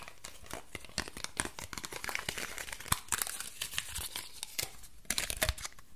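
A small, loosely crumpled ball of aluminium foil is held in both hands and squeezed and crinkled with the fingertips and nails. It produces a dense, continuous crackle of bright, dry crinkles and sharp snaps that die away instantly, with a few louder crunchy bursts near the middle and the end.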